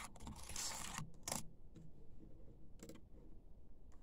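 Fingertips and nails type and tap on the black plastic keys of a laptop keyboard. A long, hissy, brushing burst comes first, followed by a sharp click and a few softer, spaced taps over a quiet, low background.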